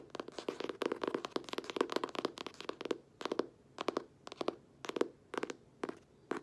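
Long manicured nails tap and scratch the front cover of a closed, solid green cloth-bound hardcover book with a gold-stamped emblem, held upright in both hands. Quick clusters of dry, clicky taps with a hollow midrange body around 400 Hz and bright edges come densely at first, then in spaced bursts separated by quiet gaps. Each tap dies almost instantly with no ring.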